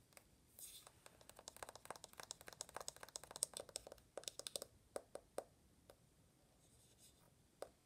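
Fingertips and long nails quickly tap and scratch the rose-gold aluminum back of an uncased iPhone. A dense burst of sharp, bright clicks and scratchy ticks fills the first few seconds, then thins into scattered single taps. The sound is quiet and dry, with almost no low end and no ring after each hit.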